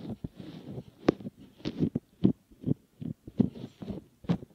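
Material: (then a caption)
Silicone. Fingertips squeeze, fold and rub the rim of a soft, solid silicone ear model. The result is quiet, muffled rubbing and squishing in the low-mid range, with dull, irregular pressing bursts and no ringing afterward.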